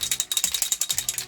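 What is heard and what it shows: A Jeffree Star spray foundation bottle in shade taffeta is shaken by hand to mix its liquid contents. About 13 quick, bright rattling clicks follow one another rapidly, sitting almost entirely in the high range with very little low end. Each click dies away almost instantly.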